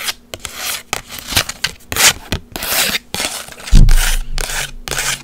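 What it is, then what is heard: Instant photo print scratched with nails. Long white acrylic nails scratch and rub a small, flat, textured green instant photo with a white frame, held up in the air. Dry, bright scratching and rubbing strokes come in short bursts separated by brief pauses, with a duller low thump partway through.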